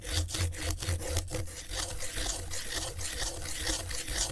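A palm-sized, flat piece of thin brown corrugated cardboard lies on skateboard griptape, held down by a gloved hand while the other hand traces and scratches its surface with a pen tip. The result is a steady, loosely rhythmic run of rough, saw-like scraping strokes with a heavy low rumble under brighter, gritty texture.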